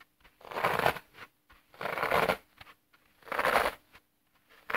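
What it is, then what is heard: Dry floral foam block being crushed. Thumbs press into both long edges of a solid, dry green floral foam block with dented edges, crushing the brittle foam. Three main crunchy, crackling bursts are heard, centered in the mids, with faint rustles in between. The block is turned at the end.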